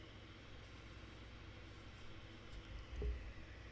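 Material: Nothing is struck.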